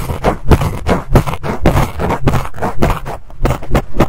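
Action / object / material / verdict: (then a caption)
scrape / fluffy fabric microphone windscreen / synthetic fur / none. A black fluffy fabric microphone cover, gripped in both hands, is scratched with fingertips and nails and picked with a pink stick tool. It gives close, muffled, bass-heavy rustling and scraping in quick, irregular bursts, each cutting off almost at once.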